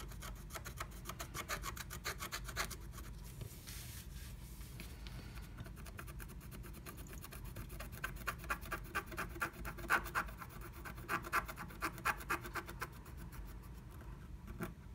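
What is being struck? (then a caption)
Coated scratch art card scratched with a wooden stylus. A black-coated scratch art card under a blue plastic stencil is scratched rapidly with a wooden stylus inside a small heart cutout. Dense, quick rasping strokes come as bright, broadband scrapes over a low rumble at a steady level. A few sharper, louder strokes stand out in the second half.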